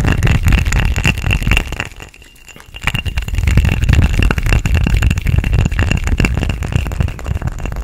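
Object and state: Ridged glass cup.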